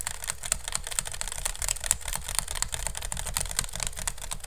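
Fingernails tap and scratch rapidly on the woven strips of a hollow, empty pink woven bamboo basket turned upside down over the mic. The result is a dense stream of fast, dry clicks and scratchy rustling with a bright, crisp top and a soft low rumble beneath, each tap dying away almost instantly.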